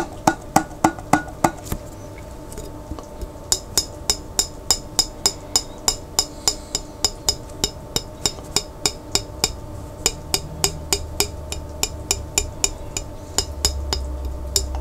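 Fingertips tap the lid and the glass of a large, clear glass pickle jar held sideways and partly filled with water. About 40 short, bright, dry taps sound at an uneven pace, with a brief pause near the start. A low hum rises toward the end.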